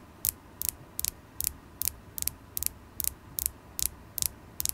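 A solid polished carnelian stone point, held in the fingers, is tapped with long acrylic nails. It gives twelve quick, bright clicking taps in a steady rhythm, each a short double tick with no ring, over a faint low background rumble.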